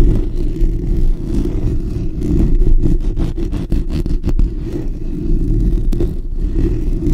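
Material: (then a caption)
Steel mesh. Fingertips and short natural nails of both hands scratch the bare steel wire-mesh grille of a black desktop condenser microphone with a hollow dome. The result is a steady, dense, boomy rumble, almost entirely deep and low, broken by quick dry scratchy crackles.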